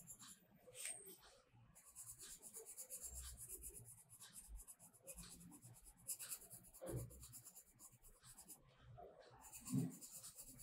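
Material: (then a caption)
Paper. A pink-purple colored pencil is rubbed and scratched across a paper coloring book page in a spiral-bound paper sketchbook lying flat, filling in the petals. Quiet, uneven scratchy strokes come with a bright, papery hiss, plus a few sharper scrapes near the end.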